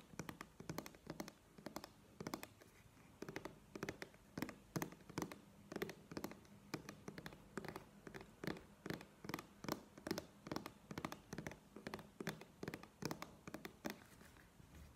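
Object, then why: Plastic squeeze tube. Long nails tap and scratch a plastic cosmetic cream squeeze tube held upright in one hand. Dozens of quick, crisp clicks with a hollow mid-low body fall in an irregular, fast rhythm over soft scratching. Each tap dies away almost instantly.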